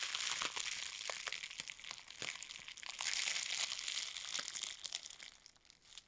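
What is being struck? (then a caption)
Plastic bubble wrap. A long roll of clear plastic bubble wrap is held in both hands and squeezed, rubbed and crinkled with fingers and nails. The result is a steady, bright crinkling hiss broken by many quick, sharp pops and crackles, fading toward the end.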